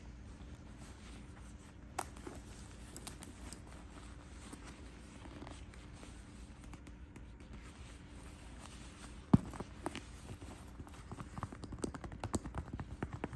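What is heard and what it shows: Fingertips and nails tap on the front flap of a closed cream quilted faux leather Guess shoulder bag with gold chain straps, resting on a bed, and work its snap closure. Soft, scattered taps and scratches sit over a quiet low hum, with a sharp click around the ninth second. Quicker, denser tapping follows toward the end.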